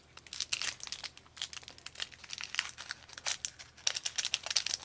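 Fingers crinkle and tear a thin blue and white paper sleeve, a long, narrow, hollow wrapper around disposable chopsticks, while sliding the chopsticks out. Bursts of dry, bright crinkling and crackling come in quick clusters, with almost no low end and no ring after each crackle.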